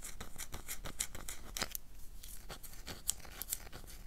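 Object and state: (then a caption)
Bar soap scratched with fingernails. A solid oval black bar of soap is held in the hand and scratched with long dark nails. The result is a quick, irregular run of short, bright, crisp scraping strokes with a dry, gritty texture and no ring after each stroke.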